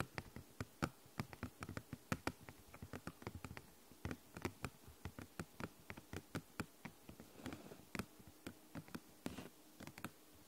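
A thin, flexible, translucent purple plastic snap document folder is tapped and scratched with long nails close to the microphone. Roughly forty quick, dry taps land in an uneven rhythm, each a short click with a soft low thump that dies away almost instantly. A faint scratchy rustle fills the gaps between them.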